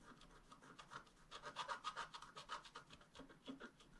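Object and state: Scratch-art paper being scratched.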